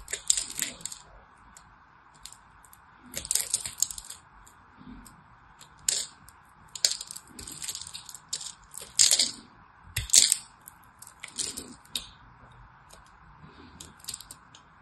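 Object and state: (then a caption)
Soap bar being carved. A small knife blade carves the edge of a solid orange-and-white striped soap bar, and crumbs fall away. Bright, crisp scraping and crackling bursts come in irregular clusters, each dying out almost at once, over a steady faint mid-range hum.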